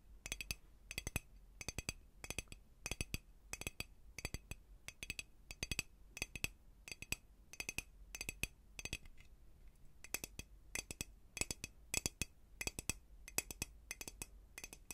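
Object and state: Glass dome cloche tapped with fingernails.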